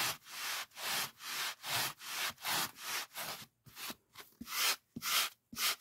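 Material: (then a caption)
Polyethylene foam. A large white polyethylene packing foam sheet is rubbed with fingers and palm, making a steady series of bright, hissy, squeaky strokes. Toward the end the strokes grow shorter and less even, with small soft thumps between quiet gaps.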